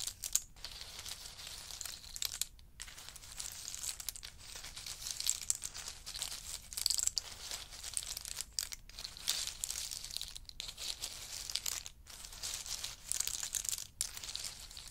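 A large pile of roasted in-shell pistachios on a fur mat is stirred and raked with a wooden spoon and a wooden chopstick. The shells click and rustle in a steady, bright, crinkly stream with brief pauses between strokes.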